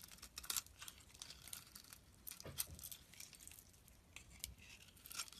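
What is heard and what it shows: A utility knife blade shaves and scrapes curls and flakes off a solid pink soap bar held in the palm. Quiet, bright, crisp scraping and crinkling comes in many short bursts with little low end, and each stroke stops almost at once.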